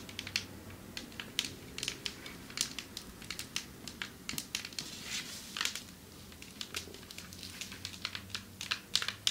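Long metallic nails tap rapidly on a marble table top, producing many sharp, crisp clicks with a bright, high-pitched character. Each tap dies away almost instantly over a faint low background hiss, with the taps coming in irregular bursts and clusters.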